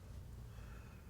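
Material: Nothing is struck.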